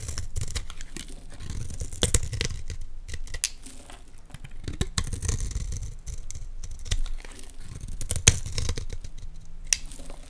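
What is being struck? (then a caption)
Olive oil bar soap. A solid green Dalan olive oil bar soap is held in the hands while a utility knife blade scrapes thin curled flakes off it. Short, dry scraping and shaving strokes repeat across the clip with a low, muffled body and bright crisp edges, and a few sharper clicks stand out.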